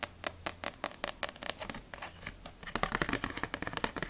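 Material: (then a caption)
Paper. Long nails tap and scratch quickly on a small, solid paperback manga, *Ousama Game Extreme* volume 1, with a glossy paper cover, turned sideways. Dry, bright clicks come in a rapid stream, mixed with brief scratchy scrapes over the cover and the spine edge. In the second half, the taps grow denser and brighter, and each one fades almost instantly.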